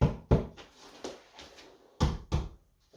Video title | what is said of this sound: Comment choisir sa planche de surf pour débutant ? | si je tape sur cette planche on voit ok ça sonne un peu creux